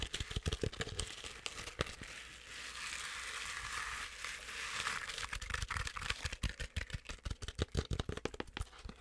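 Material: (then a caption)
Fabric. Long acrylic nails scratch fast over the fuzzy fabric belly of a medium soft stuffed plush penguin toy. The sound is a dense run of sharp, dry crackling scrapes, some bright and some low and thumpy. It swells into a steadier rough hiss in the middle, then breaks back into quick, irregular taps and scratches.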